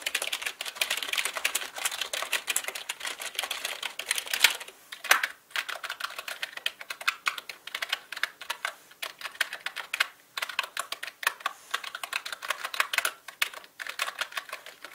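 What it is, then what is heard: Plastic mechanical keyboard. Fingertips type on a black mechanical computer keyboard with plastic keycaps, and the right hand moves over to the number pad. Rapid, bright plastic clicks and clacks run almost without a break, with a few brief pauses and some louder key strikes standing out.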